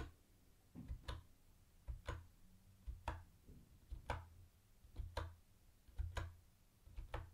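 Fingertips slowly press the keys and space bar of a mint-green plastic retro keyboard with round white plastic keycaps. About one press per second, seven in all, each a soft low thud followed by a short, bright plastic click. The clicks die away quickly over a quiet background.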